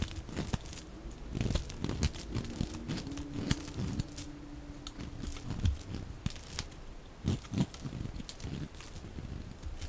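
A metal utility-knife blade shaves thin curls off the edge of a solid, rectangular, dry white bar of soap held in the hand, sped up to double speed. Dense, crunchy scraping and crinkling sounds come with frequent sharp clicks and snaps, mostly low in tone, with a faint steady hum under the middle section.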